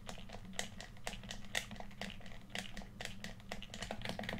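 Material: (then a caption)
Plastic. A hollow red plastic PS4 controller, held in both hands, has its buttons clicked rapidly by fingertips. The result is a quiet, dense run of short, dry plastic clicks with a bright tick near 2 kHz, over a steady low hum.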